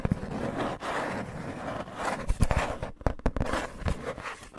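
Fingertips and long nails scratch and rub across a flat, irregularly cut, hand-sized piece of thin brown corrugated cardboard held upright in front of the recorder. The result is a steady, low, papery rustle broken by sharper scraping bursts and quick dry taps that stop almost instantly.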